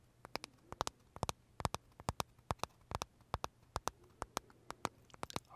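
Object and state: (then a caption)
Macaron tapped with fingernails. Fingernails tap and scratch the crisp shell of a large, pale green Starbucks pistachio macaron with filling, held in the hands. About 26 short, dry, sharp clicks with bright edges come at an uneven pace over a quiet, steady low hum. Each click dies away almost instantly.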